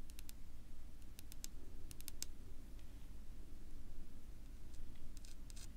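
Long pink-polished fingernails tap and scratch a flat, solid dark wood-grain tabletop. Short, crisp clicks come in small clusters over a steady low rumble, with quiet scratching between them.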